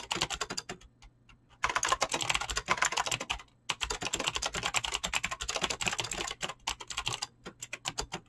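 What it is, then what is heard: Mechanical keyboard with plastic keycaps. Fingertips with short painted nails type fast on a full-size mechanical keyboard with Razer green clicky switches and pink-blue PBT plastic keycaps, resting on a desk. Bright, sharp clicks come in dense, rapid bursts, broken by a short pause near the start and a brief gap in the middle. Toward the end the typing slows into more spaced-out, distinct keystrokes.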